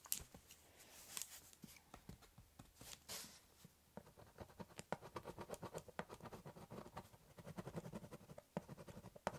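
A metal-bodied ballpoint pen held in the fingers scratches ink lines onto the top of a large, empty corrugated cardboard shipping box lying flat, drawing and hatching. Quiet, dry scratching strokes with bright edges start out sparse, then become a denser run of quick, short hatching scrapes. Each stroke stops dead with no ring.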